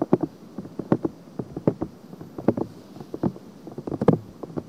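Long painted nails scratch across the silicone ear of a binaural microphone in a quick, uneven run of short scrapes. Each scratch is a brief, dull rasp concentrated in the low-mid range with almost no bright edge, over a faint steady hiss. The result is close, muffled scratching right against the ear.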